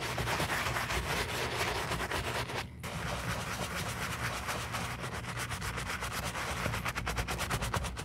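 A black leather lace-up boot, held in a gloved hand and covered in cleaning foam, is scrubbed with a wooden-handled bristle brush. The brushing is a steady, dense rubbing and scratching with rapid back-and-forth strokes and a low hum underneath. A brief pause near the three-second mark breaks the scrubbing before it resumes.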